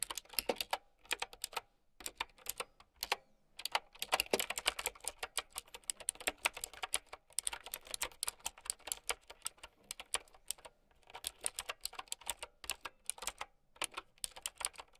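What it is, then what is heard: Plastic mechanical keyboard. Fast typing with long nails on a plastic mechanical keyboard with round keycaps produces a dense run of sharp, bright clicks. The clicks come in quick bursts separated by short pauses, and each one dies away almost instantly.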